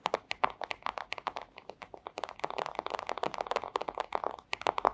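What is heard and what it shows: A flat, thin clear plastic sleeve is tapped and scratched with long acrylic nails. The result is a rapid stream of sharp, crinkly clicks and scrapes, each dying away almost instantly. The sound is bright and centred around 1 kHz, with very little low end.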